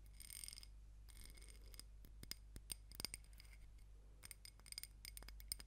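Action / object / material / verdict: tap / small ribbed glass candle jar filled with wax / glass / none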